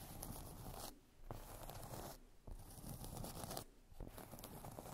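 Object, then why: Cork coaster. Long acrylic nails scratch and tap the surface of a round, flat, solid cork trivet or coaster resting on fluffy fabric. Dense, dry, bright rasping comes in steady bursts, broken by three short quieter pauses.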